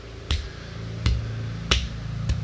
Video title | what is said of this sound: 8/10 Giant Pumpkin Update. Big and orange! | it sounds solid it's a solid sound